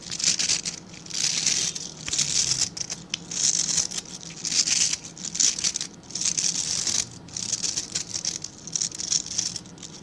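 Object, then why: Stiff bristle brush. A small dark-grey rectangular brush with dense, stiff bristles is held in both hands while fingertips and nails scratch and flick the bristles. Bright, crackly scratching comes in repeated bursts that swell and fade, with crisp flicks and no low tones.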